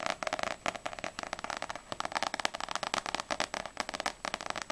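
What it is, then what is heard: Paperback book with glossy cover. Long nails tap quickly on the glossy paper front cover of a small, solid paperback manga, *Ousama Game* volume 4, held upright. A rapid, uneven run of short, dry clicking taps sounds with almost no low end, centered in the upper-mids with bright edges. Each tap dies away at once.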